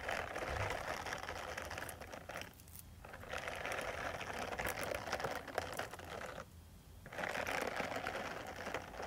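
Long metal nail tips rapidly scratch the bristles of a small purple silicone face cleansing brush pad. The result is a dense, bright, crackly scratching that pauses briefly twice before resuming.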